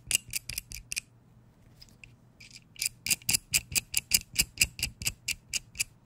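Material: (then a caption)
Metal. A small adjustable wrench with a green grip and metal head has its jaw mechanism turned and fiddled with by fingers close to the mic. About twenty crisp, bright metallic clicks come in a quick burst, pause, then return as a steadier run of ticks. Each click is dry and short with almost no ring.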